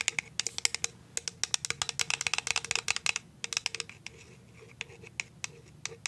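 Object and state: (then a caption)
Clear plastic jar tapped with nails. Paper clip nails tap on the side and clear bottom of a clear plastic cashew jar, making sharp, bright, dry clicks with a faint tone near 2 kHz that dies away almost instantly. The taps come in a quick, dense run for the first three seconds, then grow sparser and softer toward the end.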